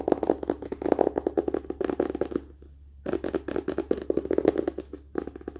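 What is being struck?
Book, paper and card cover.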